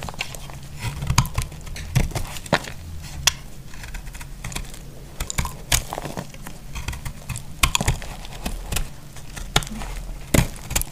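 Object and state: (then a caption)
Dry bar soap. An elongated, solid, dry pink soap stick is held in the hand and carved with a utility knife. Irregular dry, crisp clicks and crackles from the blade cutting through the soap come in quick bursts over a low, steady rumble, with a few sharper, brighter snaps standing out.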